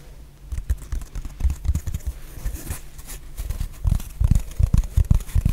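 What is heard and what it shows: Long painted nails tap and scratch a solid, hand-sized rectangular black foam/sponge block. The result is an irregular patter of soft, dull, low thuds mixed with faint scratchy rustling, with each tap dying away almost instantly. The tapping grows louder and denser toward the end.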